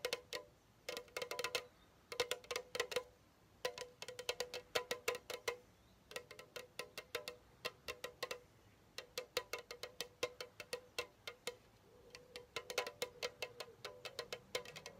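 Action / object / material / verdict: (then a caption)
tap / aluminum soda can / aluminum / none. A standard-size pink Chupa Chups strawberry soda can, hollow aluminum, is held in one hand and tapped with the fingertips and nails of the other. Dozens of quick, quiet taps come in bursts of clustered clicks separated by short pauses. Each tap has a bright metallic click over a brief hollow ring near 500 Hz that dies away almost at once.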